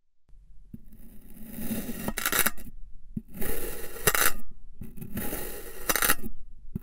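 A long black knife slices repeatedly through a solid figure-eight shape of purple and white kinetic sand. Each cut makes a soft, grainy scraping hiss that builds to a brighter crunchy rasp as the blade passes through, with faint low taps between strokes.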